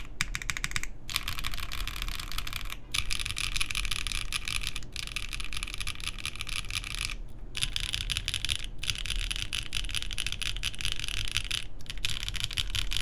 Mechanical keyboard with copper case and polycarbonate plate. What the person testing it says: this sounds solid I mean like it doesn't really sound Hollow